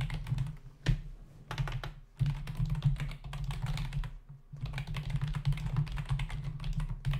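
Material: Plastic.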